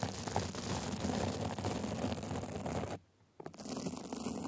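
A glitter band and sequin fabric cover fitted over a microphone is scratched with small white plastic tools, giving a dense, close, crunchy rasping with heavy low rumble. The scratching runs continuously, drops to near silence for about half a second, then resumes.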